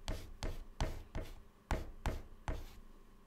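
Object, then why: White chalk on a chalkboard. White chalk held in the fingertips writes text on a flat black chalkboard panel in short scratching strokes and dots. Seven quick, separate contacts are heard, each a dull low tap with a brief bright scratch that fades fast, at an uneven pace.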